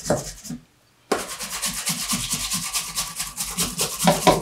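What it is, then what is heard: Leather shoe rubbed by hand. A dark brown pebbled leather Allen Edmonds MacNeil wingtip shoe, held up with a shoe tree inside, has its upper rubbed with bare hands. A short stretch of rubbing stops for about half a second, then continues as steady, rhythmic strokes. The dry, bright swishing friction has soft low thumps under each stroke.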